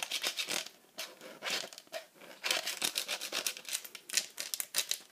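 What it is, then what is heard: Plastic tablet case tapped with nails. Very long acrylic nails fast-tap and scratch a hollow, rugged bright pink plastic iPad cover with cut-outs and a teal grip strip. The result is rapid clusters of crisp, bright clicks and scratchy rasps with almost no low end, each tap dying away almost instantly, separated by brief pauses.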